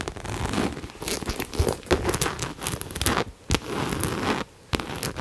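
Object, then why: Coated canvas crossbody bag. Long nails tap and scratch the surface of a hollow pink cherry-print coated canvas Coach crossbody bag held close to the mic. The result is a dense, crackly, crinkling texture of quick scratches and sharp taps, with bright edges over a low hollow body. It drops out briefly twice before resuming.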